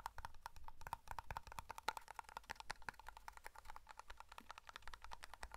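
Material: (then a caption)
Metal. Fingertips and nails tap rapidly on the lid and side of a small black matte metal hair cream tin. The result is a quick, steady run of light clicky taps, each carrying a faint metallic ping near 890 Hz that dies away almost at once.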